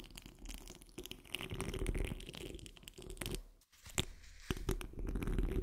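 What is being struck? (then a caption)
Steel wire-mesh microphone grille. The tips of long nails on curled fingers scratch across the rounded, hollow steel wire-mesh grille of a large condenser microphone. The result is a dense, irregular crunching and rasping texture with a heavy low rumble, broken by a brief silence partway through. It then resumes with sharp, bright scrapes.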